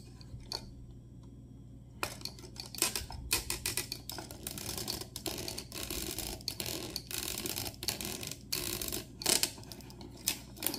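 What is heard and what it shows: Fingertips of both hands grip and move the detachable arm pieces of an assembled, hand-sized green, grey and purple Lego mech built of hollow interlocking ABS bricks, with a clear dome cockpit and a minifigure inside, standing on a wooden board. After about two near-silent seconds with a single faint click, dense bright plastic clicks and sharp snaps follow in quick, uneven bursts, each dying away almost instantly.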